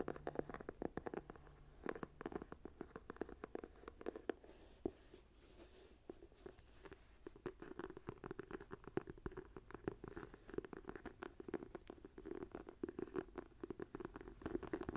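Long pointed nails scratch and tap the embossed cover and spine of a brown faux leather journal with a cream page block, held near a table. The result is a dense run of quick, dry scratches and clicks with a soft mid-range body that drops quickly after each stroke.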